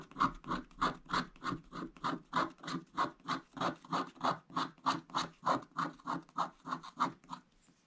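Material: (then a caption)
Coated paper. A wooden stick scratches back and forth along the upper edge of the black wax coating on a flat scratch-art page laid over blue foil paper. It makes a steady run of short, raspy strokes at about three per second, centered near 1.2 kHz with bright upper grit. The strokes stop near the end, leaving brief quiet.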